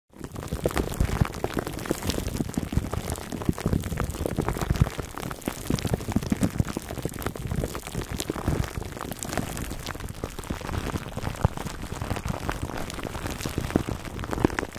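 Fingertips with short nails scratch and rub a large black foam microphone windscreen wrapped tightly in clear plastic cling film. A dense, continuous crinkling and crackling runs through the whole clip, heavy in the low end with quick, sharp snaps scattered throughout and no pauses.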